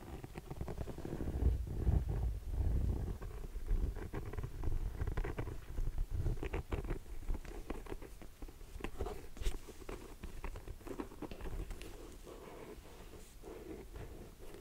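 A grey suede ankle boot is turned sole-up while long nails tap and scratch its textured black rubber sole. Soft, dull taps and scraping strokes come in a quick, uneven patter, with a low, muffled thump under them and little high sound. The taps are short and dry, with almost no ring.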